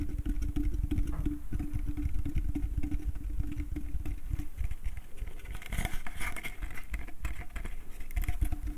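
A small, empty, hollow wooden slatted bucket with a rope handle is tapped and scratched on its outer wall with fingertips and nails. Rapid, dense, low hollow thumps and patter run throughout, with a steady resonant tone underneath. Brighter scratching rasps rise in the second half.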